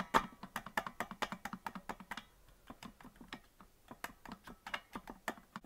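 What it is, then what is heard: Plastic melodica keys tapped. Fingertips tap the plastic keys of a hollow green plastic melodica that is not being blown, producing a steady run of about two dozen short, dry clicks. Each click is mid-pitched with a bright edge and dies away almost at once. The tapping softens briefly in the middle before picking up again.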